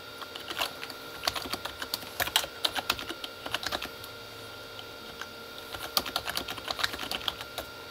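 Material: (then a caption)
Plastic. Both hands type with their fingertips on a full-size Corsair K35 plastic mechanical keyboard with red-backlit plastic keys. Quick bursts of bright, clacky keystrokes die away almost instantly. After a brief lull in the middle, the typing resumes.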